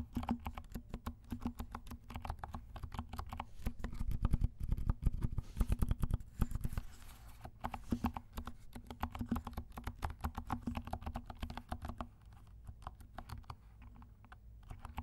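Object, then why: Plastic mechanical keyboard. A compact black mechanical keyboard with black and pink plastic keycaps is typed on with the fingertips of both hands, giving a steady stream of soft, muffled key clacks. The sound is dull and low-weighted, with short, quickly fading taps that grow busier and louder near the middle before easing off toward the end.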